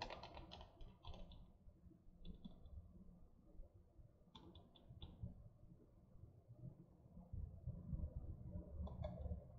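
Long nails tap the paper cover and spine of a small, solid hardcover or paperback book in quick, uneven bursts of light, crisp clicks. Each tap dies away almost at once over a steady low rumble.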